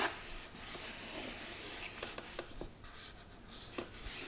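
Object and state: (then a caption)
Cardboard gift box, scratched. Fingertips and nails rub and scratch across the textured surface of a hollow red glitter cardboard gift box. The result is a continuous, bright, rasping scrape with a few sharper scratch accents along the way.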